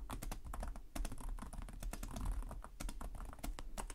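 Fingertips of both hands tap rapidly across the low-profile plastic chiclet keys of a black laptop with a hollow device body, typing continuously. The result is a fast, steady stream of short, bright clicks and clacks that die away almost instantly, over a steady low hum.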